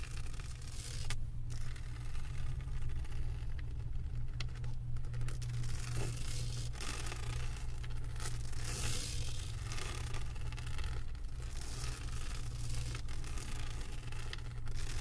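Long white acrylic nails scratch and tap across the small resin drills of a large, flat Stitch diamond painting reading "I Love you to the Moon and Back," set on a canvas board lying on a table. A steady, dry scratching and rustling texture with quick, short taps runs throughout, layered over a strong low hum.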